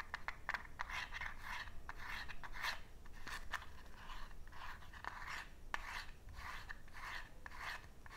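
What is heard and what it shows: Fingernails rub and rasp along the edges and drawer of a small cardboard matchbox, which sits partly open with matches inside. A steady run of dry, papery scratching bursts centered in the mid-range comes through, broken by sharp little ticks and clicks. A faint low rumble sits underneath throughout.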